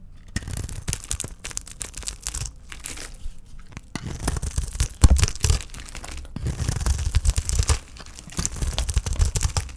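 A utility knife blade scrapes and shaves thin curls off the edge of a solid, hand-sized bar of dry green olive soap held in one hand. Quick, dry scraping and crunching strokes come in bursts, with brief pauses and louder strokes midway through.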